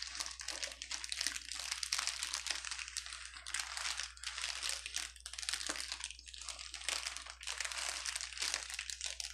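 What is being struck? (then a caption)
Plastic bubble wrap sheet. A clear plastic bubble wrap sheet on a table is pressed with both hands and pinched with fingertips, crinkling and popping. Dense, bright crackles come in continuous bursts with brief dips, over a faint steady low hum.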